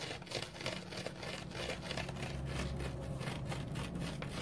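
A dry orange foam sponge is rubbed and scratched with fingernails, making a steady run of quick, rasping scratch strokes with a bright, papery texture over a low, muffled rumble.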